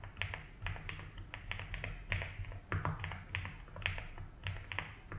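A compact 75% mechanical keyboard with white and blue ABS plastic keycaps and a light blue plastic case is typed on steadily with the fingertips. Its key taps are short and clicky, with bright attacks over a low hum.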